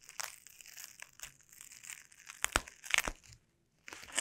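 Taped, sticky fingertips press, stick to and scratch the bubbles of a clear plastic bubble wrap sheet on a table. The result is a steady, bright crinkling and crackling, with sharper snapping peaks near the three-second mark. The sound drops to near silence briefly, then the crinkling resumes.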